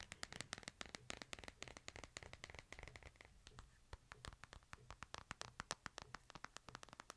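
A small solid smartphone with a glass face and metal frame, earbud cable plugged in, is held in both hands and turned while fingertips and nails tap and scratch it. Quiet, rapid, dry clicks and ticks sound over a soft scratchy rustle. Each tap is bright and stops instantly with no ring.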